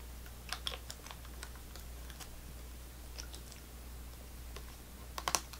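Long nails tap and scratch a small, clear, full and sealed plastic cup of apple sauce held in the hand. Light, sharp clicks with a bright edge die away almost instantly, scattered across the clip with clusters near the start and end. A steady low hum runs underneath throughout.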